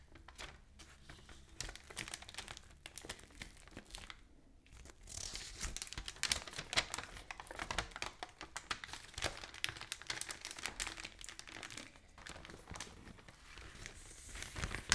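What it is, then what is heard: Newspaper being tapped, scratched and handled. A large open newsprint newspaper spread flat is tapped and scratched with long nails, and its pages are lifted and turned by hand. Dense, bright crinkling and rustling comes with quick, sharp taps and scratches. The paper gets louder and busier in the middle and toward the end.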